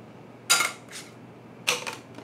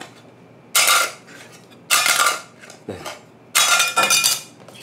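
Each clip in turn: First: plastic credit card. Second: metal credit card (metallic clink).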